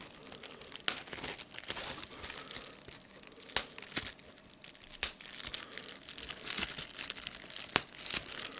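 A rolled piece of clear plastic bubble wrap with air bubbles is held in the hands while the fingers squeeze it to pop the bubbles and crinkle the plastic. A dense, bright crackling and crinkling hiss runs throughout, punctuated by sharp, short pops that die away almost instantly.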